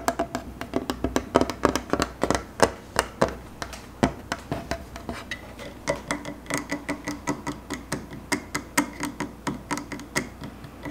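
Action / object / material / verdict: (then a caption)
tap / bamboo wooden tabletop / bamboo / none. Fingertips and short nails tap and scratch a flat, solid bamboo tabletop with a round wooden rail. A rapid, steady series of dry, woody knocks with a hollow midrange tone near 390 Hz dies away almost instantly, with faint scratching between the taps.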